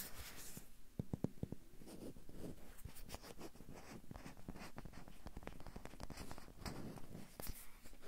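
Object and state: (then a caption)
Rubber duck toy handled and tapped. A small hollow yellow rubber or vinyl bath duck with an orange beak is held in the hand and scratched and tapped with fingertips and short nails. Quiet, dry taps and soft scratching come in quick irregular bursts, with a clustered run of sharper taps early on. The sound is mostly low and muffled, and each tap dies away almost instantly.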